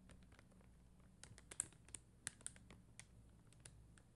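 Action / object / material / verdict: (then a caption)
tap / plastic rhinestone gems on a backing sheet / plastic / none. Long dark-green nails tap and scratch a flat plastic rhinestone sticker sheet of red and clear faceted gems on a white backing. Quiet, irregular, bright clicks and ticks snap off the hard gems with almost no ring, over a soft low hum.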